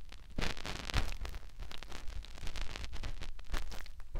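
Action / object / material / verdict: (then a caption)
scrape / silicone ear of a binaural microphone / silicone / none. Fingertips rub and press into the ear canal of a white silicone ear on a binaural microphone. The result is close, muffled rubbing with a deep, boomy low rumble and bursts of soft, crackly scratching that keep shifting in loudness.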